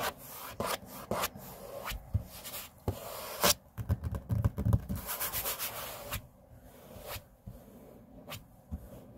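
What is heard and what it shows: Fingertips and index fingers rub and scrape across a large, flat, solid grey laminate tabletop, making soft, dry, continuous friction with a low rumble underneath. Short, sharp scratches and taps break through the rubbing at intervals, with bright high edges and no ring after them.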